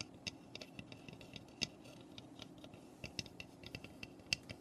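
Long nails tap and scratch across the roof of a small, hollow, unfinished raw pine birdhouse. A quiet run of sharp, dry clicks rings out, each stopping almost at once, with bright high ticks above a faint scratchy rustle.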